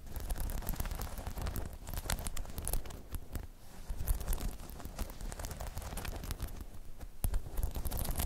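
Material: Rubber.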